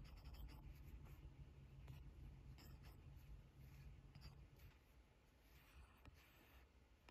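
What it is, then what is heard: Stylus on glass tablet screen. A hard plastic stylus tip taps and scratches across the flat, solid glass touchscreen of an 11-inch iPad Pro while drawing and selecting brushes. Quiet, dry ticks and soft scratching strokes sit over a steady low hum that fades partway through.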